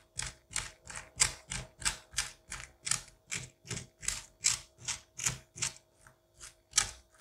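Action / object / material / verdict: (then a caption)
scrape / pumpkin flesh with seeds / pumpkin pulp / none. A white-handled curette scrapes seeds and pulp from inside a pumpkin cavity in a steady series of about eighteen short strokes. Each stroke is a bright, wet, slippery rasp with a faint soft low thump underneath. A quiet steady hum sits in the background.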